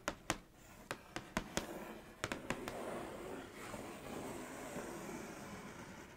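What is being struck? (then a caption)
Cardboard cereal box. Long nails and fingertips trace and scratch over the printed letters on the back panel of a pink Kellogg's cardboard cereal box. About ten sharp, dry taps come in the first two and a half seconds. A soft, continuous scratching rasp follows to the end.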